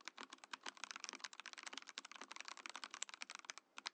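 A compact Mojo68 mechanical keyboard in a transparent acrylic case with cream and orange plastic keycaps is typed on quickly with the fingertips of both hands. It makes a dense, rapid stream of bright, crisp, dry clacks with almost no ring, with a short pause near the end before a few final keystrokes.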